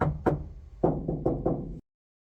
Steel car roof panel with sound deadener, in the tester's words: this should insulate and deaden. You can hear the difference.